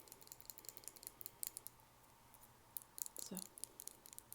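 Long nails tap rapidly on a crystal glass nail file, making a string of dry, bright clicks with almost no ring. The taps come in quick irregular bursts, pausing for a moment in the middle before a denser cluster near the end.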